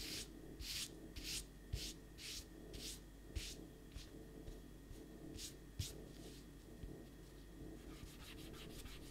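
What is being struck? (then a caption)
Rubber eraser on paper sheet. A pencil drawing on a stack of thin white printer paper sheets on a desk is erased with a small eraser held in the fingertips, in rapid rubbing strokes. Quiet, bright, scratchy bursts repeat at an uneven pace over a steady low hum, with occasional soft knocks in the low end.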